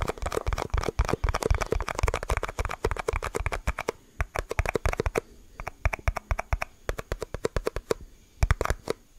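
A small, thin, hollow, empty clear plastic cup is held up close in both hands and tapped and squeezed with the fingertips. Dense, rapid, dry clicks and crinkling crackles carry a soft, thumpy low end. The taps run almost continuously for about four seconds, then break into shorter, sparser bursts with quiet gaps between them.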